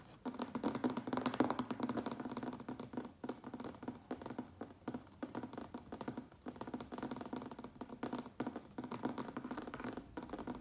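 Fingertips and nails tap fast and lightly scratch the sides of a medium, closed cardboard Priority Mail box turned on its end. The hollow box gives a continuous run of quick, dry, papery taps with a dull mid-pitched thump around 250 Hz and almost no ring after each hit.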